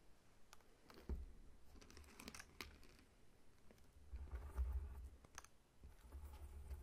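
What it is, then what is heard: Whole pineapple. Fingertips tap intermittently on the scaly rind of a whole, solid pineapple lying on its side. The quiet, irregular taps land as soft, dull thumps with a low, muffled body and faint bright clicks on top, each dying away quickly.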